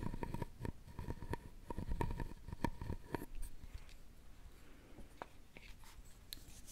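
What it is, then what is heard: Carved wooden jewelry box. A thin wooden stick scrapes across a hollow, round, openwork carved wooden jewelry box. Quiet, low, rustly scraping is dotted with short dry clicks and a faint tone near 1 kHz for the first three seconds. It then thins to sparse, softer ticks over a low hush.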